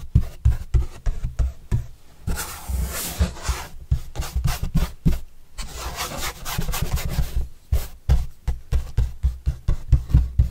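A soft paintbrush with a red and black handle is brushed across the surface of a large, flat, white corrugated cardboard pizza box with green edges, held upright by hand, hollow and closed. Quick, rhythmic strokes give off soft, papery scratching over a dull, hollow low thump, with two stretches of longer, continuous bright swishing in between.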